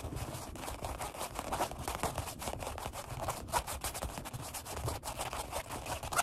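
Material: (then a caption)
Vinyl. Bare fingertips and palms rapidly rub and tap the solid black padded seat of a Flybird workout bench with a red stripe, its vinyl upholstery stretched over foam. A dense, continuous stream of quick, dry scratching taps and rubs sounds at an even, moderate level, with soft low thuds underneath and a bright brushing hiss on top.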